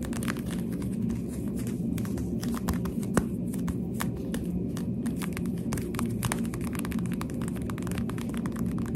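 A small pink plastic sunglasses frame with tinted lenses is held up and tapped with the finger pads of a hand with long dark nails. Many quick, soft, dull taps with brief bright clicks sit over a steady low rumble, each tap dying away almost at once.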